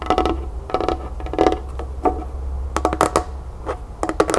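Long nails scratch and tap a small, hollow, matte pink plastic cup, which is held and then set upside down. Short, dry clicking taps come in quick clusters with brief scratchy strokes between them, over a steady low hum.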